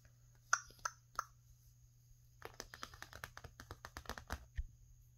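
Fingertips and long painted nails work over a flat painted canvas with a bunny painting, a thin surface stretched over a frame. Three sharp, hollow taps ring out early, then a quicker run of lighter taps and scratches patters across the painted surface. A low steady hum sits underneath.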